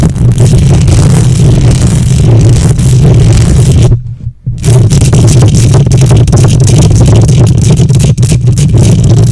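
Long nails on both hands scratch the hollow metal mesh grille of a silver condenser microphone. The result is a loud, continuous, boomy rumble concentrated in the low bass around 110 Hz, with faint hiss above it. It cuts out briefly for about half a second near the middle, then resumes.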